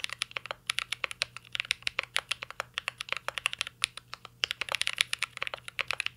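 A mint-green Cyberboard R3 mechanical keyboard with plastic keycaps and an aluminum case is typed on continuously with the fingertips. It produces a rapid stream of short, bright, clicky taps with no ringing tail, and the key sounds sit mostly in the upper range.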